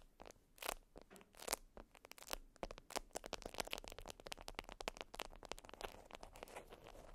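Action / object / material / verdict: scrape / beeswax-coated cotton wrap / waxed cotton / none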